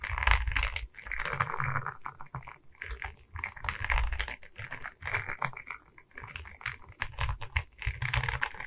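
Long red nails tap and scratch across a diamond painting of resin beads on a wooden canvas board, which is held at its sides. Quick, dry clicks and rasping scratches come in dense bursts, with soft low thumps from the board beneath and brief, bright edges on the sharper taps.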